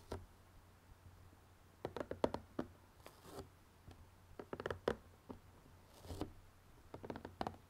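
Fingernails scratch and tap on the lid of a closed, printed cardboard jigsaw puzzle box resting on a red table. Quick, dry, mid-pitched taps come in irregular clusters, separated by soft scratchy brushing. A faint low hum runs underneath throughout.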